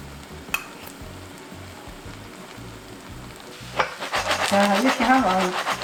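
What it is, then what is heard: Crisp-bottomed kimchi pancake ready to flip. A kimchi pancake frying on breadcrumbs in oil sizzles softly in the pan, then turns into a louder, rough, crisp rustling as the pan is shaken. The sound shows the first side is done and crisp, so the pancake is ready to flip.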